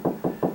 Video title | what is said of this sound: How to Install 6 Foot Storage Cabinet to Bedroom Closet...Part 3 | it feels a little bit tighter right there that's where the stud is